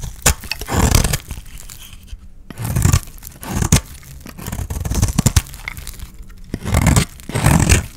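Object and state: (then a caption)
Dry soap bar scraped with a blade. A utility knife blade scrapes the face and edges of a dry, oval, pale-green solid soap bar held in the hand, peeling off thin shavings. Repeated dry, crunchy scraping strokes with a heavy low-end body and short, tearing bursts are separated by brief quiet gaps.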